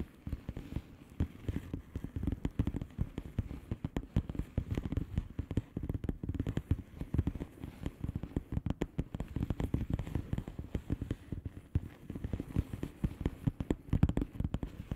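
Long polished nails on both hands tap quickly on the bubbles of a flat, hollow plastic bubble-wrap mailer lying on a surface. The result is a steady, dense stream of short, dull, low-pitched taps with a soft crackle. Each tap dies away almost at once, with little brightness.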